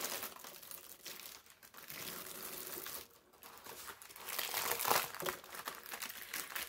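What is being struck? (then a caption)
Thin parchment paper sheet. A wrinkled sheet of thin brown parchment paper is stretched, then smoothed flat on a table with the palms. Dense, bright crinkling and rubbing rustles continuously, dips quieter around three seconds, and builds to its loudest crackle near five seconds before easing off.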